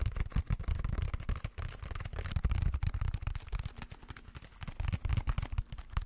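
A plastic sponge casing is tapped quickly and repeatedly. It makes a dense run of short, dull, low-heavy knocks with crisp clicky edges. Each tap dies away almost instantly.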